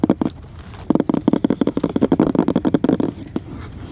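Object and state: Painted wooden sign, solid board.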